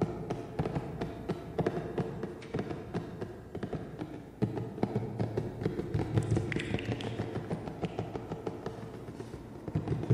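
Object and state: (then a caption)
Hollow cardboard box. A hollow black printed cardboard box is tapped quickly with the fingertips while held close to the camera. It gives short, dull, low thuds with almost no ring, and the box is lowered at the end.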